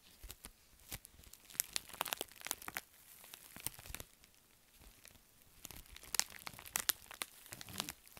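A pink metallic foil bubble mailer, held in both hands, is crumpled and scratched by fingertips and nails across its crinkly film. Bright, sharp crackles and crunches come in two busy bursts separated by a quieter stretch of soft rustling in the middle. The sound has almost no low end, and each crackle cuts off at once without ringing.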